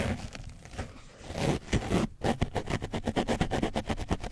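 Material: Foam.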